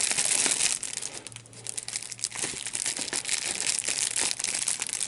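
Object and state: Plastic bubble wrap being popped.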